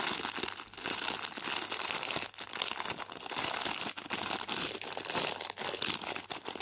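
A hand crinkles and squeezes a full Space Raiders crisp bag made of foil-lined plastic film. The result is a dense, continuous, bright crackling and rustling with almost no low end, rising and dipping briefly as the grip shifts.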